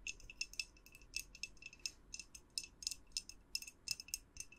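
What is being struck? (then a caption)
Glass jar with a tea light inside. Long acrylic nails tap the sides of a clear glass jar with a white lid, held in both hands, with a lit tea light inside and otherwise empty. The result is a quick, irregular run of bright, clicky glass taps with a faint high ring that dies almost at once, over a quiet background.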